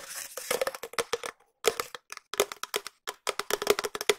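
A long, empty, hollow cardboard tube, held in both hands close to the mic, is tapped with long nails and fingertips. Quick and slower taps come in uneven bursts with brief pauses, each a short, dry knock with a steady hollow tone around 414 Hz and a bright, papery click on top. Each tap dies away almost at once.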